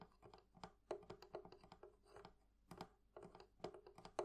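The metal fittings on a wooden barrel chest from a thrift shop are tapped with fingernails and fingertips. The result is a quiet, uneven run of short, dry clicks and taps. Each has a mid-pitched ring that dies almost at once, with a few brighter, louder taps near the end.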